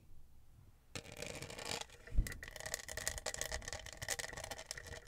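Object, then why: Studded plastic tumbler. Long acrylic nails tap and click across the studded surface of a tall pink tumbler with a lid and straw, likely hollow plastic, held in the hands. After about a second of near silence, a dense run of quick, bright clicks and light scratchy rattles begins, with a single duller knock just past two seconds. The tapping continues steadily to the end.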